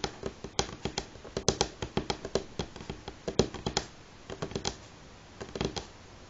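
Fingernails of both hands tap on a solid light pine wooden tabletop, making about two dozen quick, dry clicks with a hollow woody knock around 390 Hz. The clicks come in irregular bursts with short quiet gaps between groups, and each one dies away almost instantly.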